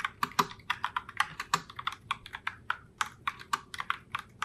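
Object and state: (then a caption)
Plastic mechanical keyboard. A pink Logitech Pop Keys mechanical keyboard in Heartbreaker Rose, with round plastic keycaps, is typed on continuously by both hands with long nails. About 28 quick, sharp clacks, centered near 1 kHz with bright upper edges, die out almost instantly. They form a steady, uneven typing rhythm with little low end.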